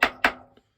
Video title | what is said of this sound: Matteson's PLAIN BASE Gas Check Maker | you'll hear it change tone. Hear that? When it's all the way on.